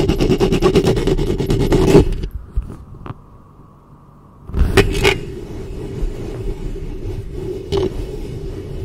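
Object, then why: Metal mesh microphone grille. Long fingernails scratch the metal mesh grille of a hollow black studio microphone, producing dense, rapid rasping strokes with a hollow low-mid ring. The scratching drops away into near silence with a faint hum around the middle, then resumes with a loud burst and continues as steadier, softer scraping.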